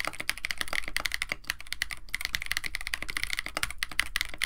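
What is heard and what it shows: Both hands type continuously with their fingertips on a compact 65% KBD67 Lite mechanical keyboard, which has a white case, blue and white PBT plastic keycaps, an FR4 plate and stock Techno Violets switches. A rapid, steady stream of short, crisp keystroke clacks is heard, each centred around 2 kHz with bright upper edges and a soft low thump beneath. Each clack dies away almost instantly.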